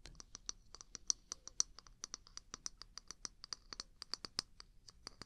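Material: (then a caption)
Wood. A small, hollow, empty-looking wooden mug with a handle is held in one hand and tapped and scratched close to the mic with the long pink nails of the other hand. About thirty quick, dry, bright clicks and scratches follow one another at an uneven pace over five seconds. Each stops almost instantly, with little low end beneath them.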